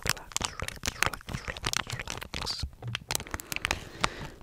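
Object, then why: Soft plastic wipes pouch. A hand-sized, flexible blue and white soft plastic face wipe pouch, full of wipes, is crinkled and squeezed with fingers close to the microphone. It makes a dense run of bright, crackling crinkles and sharp snaps that die away almost instantly, with softer rustling between them.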